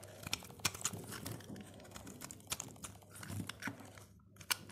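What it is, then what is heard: Dry soap bar being carved. A utility blade carves and scrapes shavings off the surface of a solid, dry purple soap bar. Crisp, crackling scrapes and bright, sharp ticks come in quick irregular bursts over a faint low hum, with each tick cutting off almost instantly.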